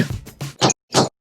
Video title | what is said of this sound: Whole Wheat Bread Recipe - Homemade Bread Without Yeast - Sourdough Starter - Whole Wheat Bread | the bread looks and smells delicious tap it with your nails the hollow sound ensures that it is well cooked